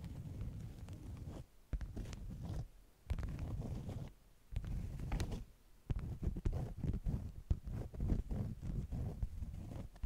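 Long nails scratch and tap the top sheet of a folded stack of beeswax-coated cotton food wraps. The sound is close, muffled scratching in low, dull bursts separated by short pauses, with quick soft taps and faint bright crinkle ticks, growing denser toward the end.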